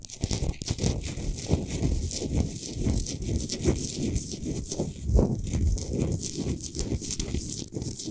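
A large solid Himalayan salt sphere lamp, lit from inside, is scratched quickly on its sides with the long nails of both hands. The result is a continuous, dense, low rasping friction with gritty crackles and uneven swells.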